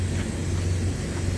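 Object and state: Nothing is struck.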